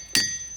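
A boulder in a boulder field at Ringing Rocks Park is struck once with a hammer. It gives a sharp strike and a bright, bell-like metallic ring with clear high tones that fades over about a quarter second. This ringing is why the place is called Ringing Rocks.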